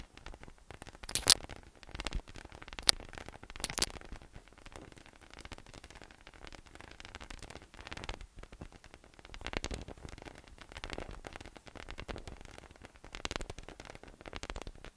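A yellow, hollow, inflated PVC spiky massage ball with nubs, about 25 cm across, rests on a table and is tapped and rubbed on top with the fingertips. This produces a dense, bright, crackling rustle with a few sharper taps in the first four seconds. It then settles into softer scratchy swells that come and go in waves, with very little ring.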